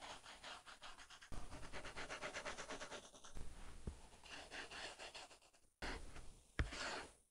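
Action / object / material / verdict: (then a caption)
scrape / tablet glass screen with matte plastic film, rubbed by a plastic stylus tip / plastic film / none. A plastic stylus tip scratches and rubs across an iPad glass screen covered with a matte, paper-like plastic film, laid flat and solid, in repeated coloring strokes. The strokes make a rapid, rhythmic dry scratching with a soft, bright hiss, broken by a few louder taps and short pauses.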